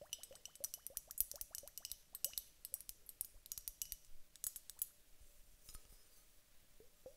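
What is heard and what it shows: Long nails lightly tap a glass hourglass filled with gel water beads in a quick, uneven run of dry, bright clicks. A faint ringing tone near 600 Hz hangs beneath the taps, which grow softer and sparser toward the end.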